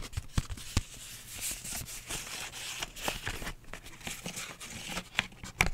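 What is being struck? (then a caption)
Paper envelope. Long nails tap and scratch across a flat, empty pink paper envelope with writing on it. Sharp, dry taps punctuate a crisp, bright, papery scratching and rustling throughout.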